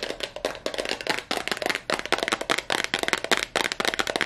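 A small clear heart-shaped glass perfume bottle with a yellow cap is held in both hands and tapped fast with long nails on its sides. The result is rapid, uneven bursts of sharp, bright clicking taps with a short glassy ring, each dying away almost instantly.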